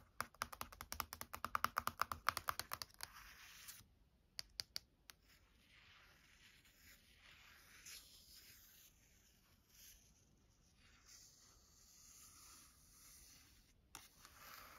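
Long nails tap quickly on the back of a glossy paperback art book, whose glossy paper cover carries a portrait photo, near the barcode and edges, making a dense run of sharp, bright clicks for about three seconds. A few more isolated taps follow. Then comes a long stretch of quiet, hissy scratching and tracing across the cover, with one last tap near the end.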